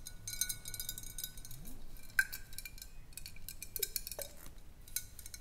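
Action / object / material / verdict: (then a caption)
tap / glass swing-top bottle with some water / glass / none. A large clear glass bottle with a wire swing-top cap, holding some water and lying on its side, is tapped along its side with long acrylic nails. Quiet, crisp clicking taps come in quick, irregular runs. A few brighter glassy pings ring briefly around 1.5 kHz over a low background hum.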